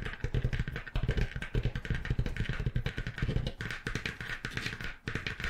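Long acrylic nails rapidly tap and scratch the textured, stitched faux leather cover of a medium-sized dark grey notebook or folio held upright in front of the mic. The result is a fast, steady stream of short, dull, bassy thumps centered around 125 Hz, with a light scratchy rasp layered over them.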